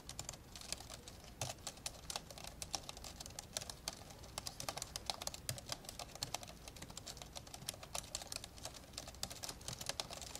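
Fingertips type on the plastic keys of an old, open, dark grey plastic laptop, mostly with both hands. A steady stream of rapid, bright, short clicks and taps runs throughout, each dying away almost instantly over a faint low background.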